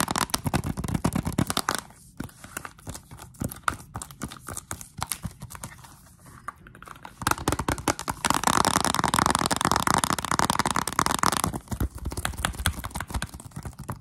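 Long pink and black acrylic nails tap and scratch a Zelda Nintendo Switch game case, a small, hollow plastic box with a glossy clear sleeve over the cover art. Rapid, dry clicking taps give way to a louder stretch of steady scratching with a rough, mid-pitched hiss, then the tapping returns.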